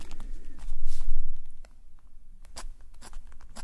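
A metal nib pen scratches small, quick strokes in the same spot on a black paper sketchbook page, held in a steady hand. Short, dry, bright scratches come in a loose rhythm over a low rumble, with a louder, denser stretch early on before the strokes settle into a quieter, steady pattern.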